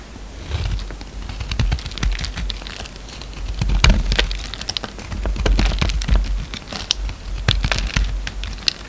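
A utility knife blade shaves and scrapes a solid orange bar of soap held in the hand, mostly peeled, with the shavings piling up below. Crisp, crackly scraping and sharp, bright clicks come in irregular bursts over a steady low rumble.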